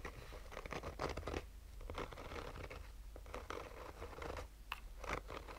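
Fingernails of both hands slowly scratch a black oval sunglasses case, a hollow rigid hard shell covered in textured fabric. Soft, raspy scratching bursts come and go over a steady low hum, with the strokes sounding dry and close.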